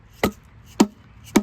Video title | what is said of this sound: Final Tear Down 1984 Honda Goldwing GL1200 Engine Archeology Crankshaft Block Case Transmission | Usually when it sounds hollow, kind of like that, kind of tells you that you're making some progress and separating.